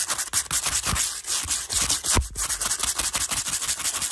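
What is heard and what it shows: Bristles of a teal hairbrush scratch fast and aggressively across the edges of a stack of small, translucent pastel plastic cases in pink, blue and yellow, which are hollow and appear empty. The result is a bright, hissy rasping made of rapid, repeated scraping strokes, with a few sharper clicks and very little low end.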